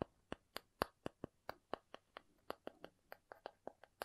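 A cardboard object is tapped 19 times in a quick, uneven rhythm. Each tap is short, dry and quiet, with a hollow tone around 535 Hz and almost no ring.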